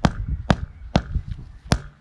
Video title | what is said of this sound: J’ai cru ne jamais arrivé au bout de ces pavés.. 😅 (Fin de l'aménagement de ma maison !) | il faut vraiment que ça sonne dur, qu'on sente bien qu'il soit contre les autres